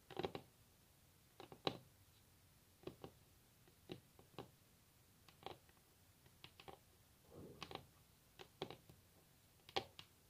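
Long natural nails of both hands tap a solid varnished wooden tabletop, heard close up. Quiet, dry, bright clicks come in irregular bursts and clusters, each dying away almost at once with no ring, between stretches of near silence.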